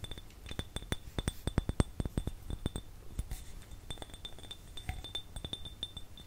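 A small, hollow, empty clear glass jar with no lid is tapped with the fingernails of both hands. The taps come as a rapid, irregular run of short, dry clinks, each with a faint bright glassy ring and a soft low knock underneath, and some land harder than others.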